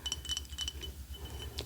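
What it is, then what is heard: Ceramic mug. Clinking taps on a Wicked souvenir mug from the show, which has the words "one short day" printed inside the cup. A series of short, bright, glassy clinks rings near 3 kHz and dies away almost at once, over a soft low rumble.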